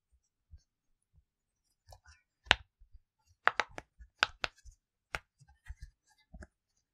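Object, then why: Silicone push-pop bubble toy. An octagonal, rainbow-colored silicone push-pop bubble fidget toy, flat and about hand-sized with hollow bubble domes, is held in both hands while the fingertips press and pop the bubbles. The result is an irregular series of short, dry clicking pops, some sharp and bright, others soft and muffled with faint low thumps, each stopping almost instantly with no ring.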